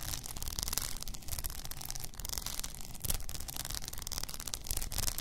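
Long nails scratch across an upright blue rhinestone-covered tumbler with a frosted lid. The result is a steady, dense scratching with a bright, gritty hiss over a low rumble, in uneven strokes that swell and fade without clear gaps.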